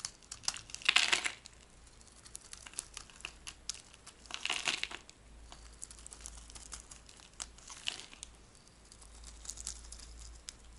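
A dry, cream-white oval bar of solid soap held in the palm is scraped and carved with a metal blade, peeling off flakes. Crisp, bright crinkling and scratching strokes swell into louder bursts around 1, 4.5 and 8 seconds, with many small dry clicks and ticks in between over a quiet background.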